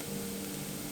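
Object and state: Nothing is struck.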